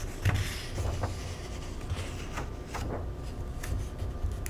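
Bare fingertips and a palm rub and slide across the thin paper pages of the index section of an open paperback cookbook lying on a table, lifting the page edges to turn them. Soft, papery brushing and crinkling rustles come in short, bright swishes over a steady low rumble.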